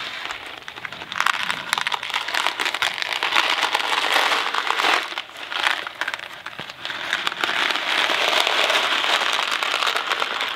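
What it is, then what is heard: Cardboard box of dry macaroni. A small Kraft macaroni and cheese cardboard box, hollow and filled with dry pasta, is held in the hands, tapped with fingertips and shaken. The dry pasta makes a dense, bright rattling and crinkling that swells in waves, dipping briefly around the middle before building to a steady, continuous shake.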